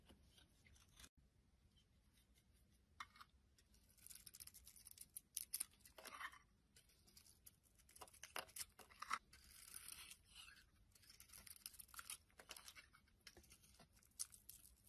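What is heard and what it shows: A solid dark red bar of soap with a brown core, held in the hand, is shaved with a metal utility blade into chunky curls. Soft, bright scraping and crisp cutting strokes come in quick irregular bursts over a quiet background, each stroke dry and short with no ring.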